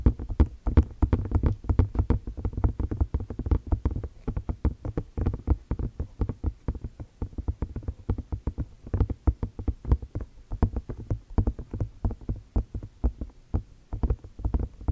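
A hand-sized, pale grey-white hollow silicone container, empty as far as visible, is held in both hands while long fingernails tap and scratch its sides. The result is a continuous run of dense, soft, low thuds and brief scratches with almost no ring and no high content, in a quick irregular patter throughout.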